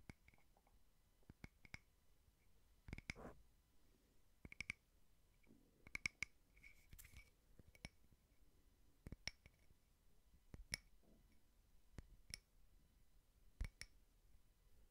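A small frosted glass votive holder with printed cake designs and a candle inside is tapped slowly with fingertips and short nails. About twenty short, quiet clicks and soft knocks each carry a faint bright glassy ping near 2.2 kHz that dies away almost at once, with some dull low thumps under them.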